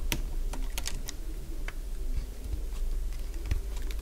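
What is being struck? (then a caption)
Bar of soap cut with a metal blade. A solid cream-coloured piece of dry bar soap is carved with a hand-held metal blade. Short, dry crunching clicks with bright, crisp edges rise sporadically over a steady low hum, each snap fading almost instantly.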